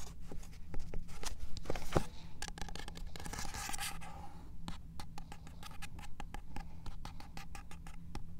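Fingernails tap quickly and irregularly on a small, solid paperback copy of 'In Cold Blood' with a card cover, moving from the front cover to the spine and then the back cover as the book is turned. The taps are short, dry clicks with a brief rustle of handling near the start, over a low steady hum.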